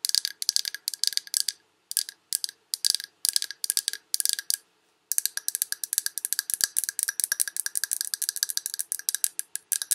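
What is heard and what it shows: A large glass Yankee Candle jar with a paper label, filled with solid wax, is held in both hands and tapped with long red acrylic nails. Quick bursts of bright, dry clicking come in clusters with short pauses, then a near-continuous rapid flurry. Each tap dies away almost instantly, with a faint low glassy tone underneath.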